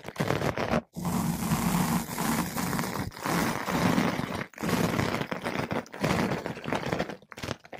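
A flat paintbrush with blue synthetic bristles brushes and scratches a large, soft, porous yellow-pink foam ball windscreen fitted over a microphone. The result is dense, muffled scratching and rustling with a heavy low rumble, in long continuous strokes broken by a few brief silent pauses.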